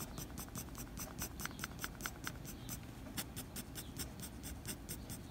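A blue mechanical pencil's graphite tip scratches quick hatching strokes across a flat white drawing paper sheet near a drawn eye. The strokes come as a rapid, uneven series of short, dry, bright scratches over a faint low rumble. The overall sound is quiet.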